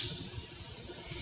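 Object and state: Nothing is struck.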